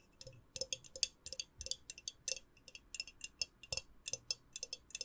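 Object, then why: Small glass candle jar with lid. Long nails tap the lid rim and the glass of a small hollow clear glass jar held in one hand, with a lit candle inside and a white lid. About two dozen quick, bright, clicky taps come in an uneven rhythm, each dying away almost instantly with a faint low ping beneath.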